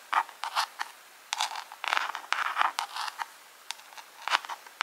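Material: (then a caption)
Plastic. Long pink acrylic nails tap and scratch a small, hollow, clear plastic jar decorated with rhinestones. Short, bright clicks alternate with brief scraping bursts, with no low end and quick decay.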